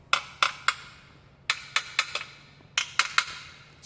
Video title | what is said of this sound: HOW TO QUIET YOUR NOISY EXHAUST FOR 5$ | it doesn't ring anymore it's because we got resonating material in there